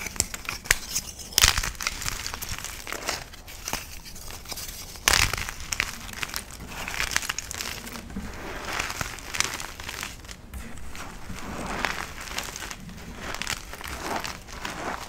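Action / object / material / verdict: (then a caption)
scrape / dyed chalk crumbs and powder / chalk / none. Bare fingertips and palms squeeze, crush and rub a pile of broken orange dyed chalk thins, solid crumbs and powder, on a marble surface. The result is a steady, bright, gritty crackling and crumbling, with louder crunching bursts near 1.5 and 5 seconds.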